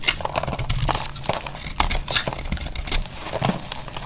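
A utility knife blade carves a dry, tan-brown laundry soap bar, and dry chips crack off. The result is a rapid run of short, dry, crackling scrapes with bright edges over a low, steady rumble, each snap dying away almost instantly.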